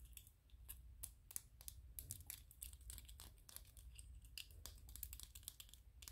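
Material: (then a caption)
PLA plastic. Fingernails and fingertips scratch and tap on a small white, solid PLA plastic 3D-printed ghost toy. Quick, sharp, bright clicks and dry scratchy strokes come in a rapid, irregular stream, each dying away almost instantly. A steady low rumble sits underneath throughout.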